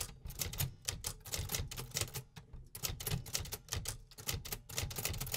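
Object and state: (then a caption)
Vintage metal typewriter being typed on. A hollow, metal-cased 1950s vintage typewriter is typed on with the fingertips of both hands, producing rapid, repetitive mechanical clacks. Each keystroke has a bright, sharp snap over a low, hollow body thump, and the short strikes die away quickly in a steady typing rhythm.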